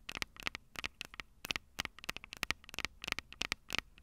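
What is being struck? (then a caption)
Metal microphone capsules on a handheld recorder. Long purple nails tap and scratch the metal microphone capsules on a Tascam DR-05 recorder, making a rapid, irregular series of about twenty sharp, dry clicks. The sound is bright and crackly, with almost no low end and no ring after each tap, over a faint hiss between hits.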